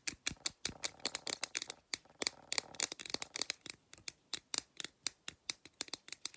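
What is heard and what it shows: Long black nails tap and scratch the side of a blue printed aluminum drink can, giving some 35 fast, dry, bright clicks with almost no ring or low end. Short scratchy rustling stretches fill the gaps between some taps.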